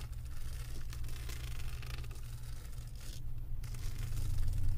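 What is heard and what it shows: Long acrylic nails scratch across the resin drills of a flat diamond painting on a canvas board. The result is a steady, dry, bright scratching and rustling over a low rumble, with a brief lull in the scratching just past the midpoint before it builds slightly louder toward the end.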